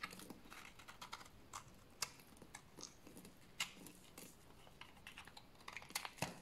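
A solid bar of dry beige soap, held in the hands, is scraped with a blade to make shavings. It gives a quiet, irregular run of short, dry, bright scratching clicks that stop instantly with no ring.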